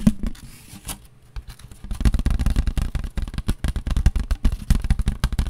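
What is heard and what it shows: A thin, empty white disposable paper plate is held in both hands while nails and fingertips tap along its rim and underside. A few faint, scattered taps give way after about two seconds to a dense run of quick, soft, dull taps with a dry papery rustle and scrape. Each tap dies away almost instantly.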